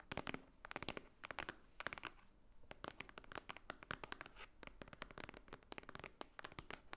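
Long painted nails of both hands tap on a large, thick, solid white stack of paper pages resting on a wooden table. Quick clusters of sharp, dry clicks are heard, bright with a papery crackle around 1.6 kHz and almost no ring. The taps come in irregular rapid bursts at a quiet level throughout.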